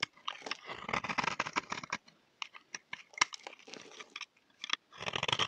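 A utility knife blade scrapes a solid, dry, oval peach bar soap held in the hand, shaving off flakes. It makes dense, crisp, crunchy scraping strokes with a bright, dry texture and almost no low end. The strokes run in quick clusters, thin out with short pauses in the middle, then pick up again at the end.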